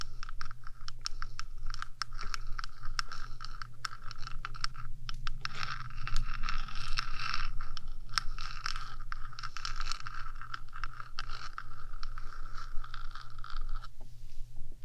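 Long nails on both hands rapidly tap and scratch the top of a 3Dio microphone's hollow metal box. The result is a continuous, dense texture of scraping and quick clicky taps with a steady low hum beneath. A bright, hollow metallic rasp sits around 1.3 kHz.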